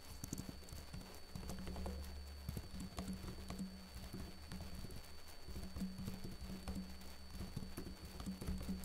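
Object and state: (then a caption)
Plastic laptop keyboard being typed on. Fingertips with short blue-painted nails type on the plastic keys of a backlit laptop keyboard. Quick, soft clicks and taps patter continuously over a steady low hum, with a faint thin high tone in the background.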